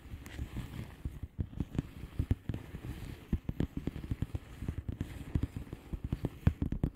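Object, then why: Plastic bubble wrap envelope. A flat blue plastic bubble wrap envelope with air-filled bubbles is tapped with the long painted nails of both hands. The result is a steady, irregular patter of quick, soft, dull taps, mostly low and thuddy, with a faint crisp click on the sharper strikes. The taps die out almost at once.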